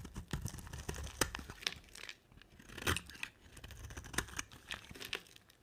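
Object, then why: Bar of soap scraped with a knife blade. A utility knife blade scrapes and carves curls and flakes off a hand-sized, solid white dry soap bar with a thin dark coating, held in one hand. The sound is a run of quiet, dry, crisp scraping and crunchy tearing bursts with a bright edge, each stroke short and fading almost at once.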